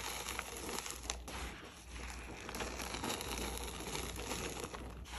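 Gloved hands scoop and crumble dry, pinkish crushed red gym chalk powder over a plate and let it pour down. It makes a steady, crunchy crinkling and crackling with a bright, hissy texture and a faint low hum underneath. Small sharp crunches stand out at intervals through the clip.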